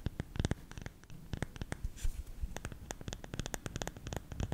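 Fingernails scratch the lid of a hollow, round, lidded bamboo salt container tilted toward the mic, producing a rapid series of dry, crisp scratching ticks with a hollow, low body and bright edges. The strokes come in quick clusters with a brief lull near the middle, and each dies away almost instantly.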